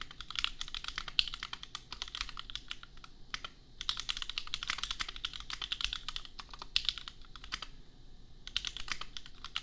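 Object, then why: Plastic mechanical keyboard keys. Fingertips of both hands type on a $250 custom compact mechanical keyboard with Gateron Milky Yellow switches and red and pink plastic keycaps. Rapid, bright, crisp keystrokes clack in dense bursts, with brief pauses in between.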